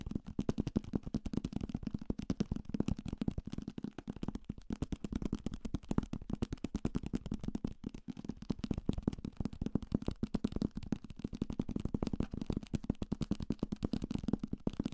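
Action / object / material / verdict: tap / thick paperback book with card cover / paper / none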